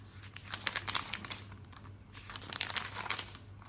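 Fingertips with painted nails smooth, rub and turn the thin glossy pages of a thick printed catalog lying open on a table. The result is bright, crisp crinkling and rustling in two busier bursts, one early and one later, with quieter soft rubbing between them over a faint low steady hum.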